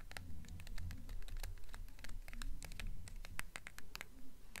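Long nails tap and scratch the paper dust jacket of a blue hardcover book as it is held upright and then tilted. Quick, dry, irregular clicks and scratches with bright edges sit over a low, steady rumble, and none of them ring on.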